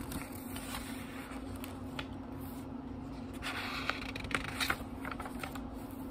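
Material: Paper.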